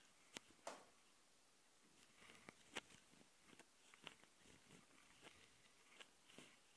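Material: Plastic.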